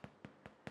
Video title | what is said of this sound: My Sourdough Sandwich Loaf Method by Elaine "Foodbod" Boddy | if you tap the base of your Loaf and it sounds Hollow that is a way to know whether or not your loaf is baked